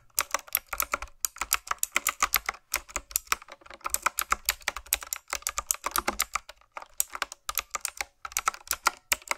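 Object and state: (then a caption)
Mechanical keyboard typing. A black, backlit, hollow retro typewriter-style plastic mechanical keyboard with round keycaps set in metal rims is typed on with fingertips and nails. The result is a steady run of sharp, bright, clicky taps with brief pauses between bursts. Each keystroke is short and dry, with a faint low thump under the clicks.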